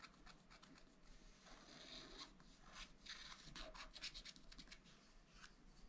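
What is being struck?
Scratch-art paper pad scraped with a wooden stylus.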